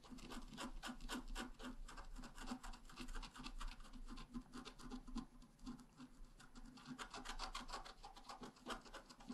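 A wooden stylus scratches a red flower into the left side of a flat, black-coated scratch art paper card held down with one hand. Quick, dry scratching and rasping strokes repeat in a steady, uneven rhythm over a low background hum, with brief pauses between bursts.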